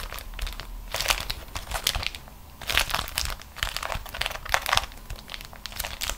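A single beeswax-coated cotton food wrap, crumpled into a fist-sized ball, is squeezed and crinkled between both hands with long acrylic nails. Bursts of dry, bright crackling and sticky crinkles come in uneven clusters, separated by quieter pauses.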